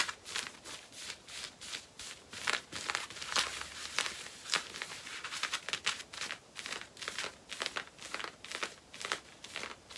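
Long painted nails scratch worn black cotton denim jeans at the front hip and back waistband. The result is a steady run of quick, dry, bright rasping strokes, with almost no low end.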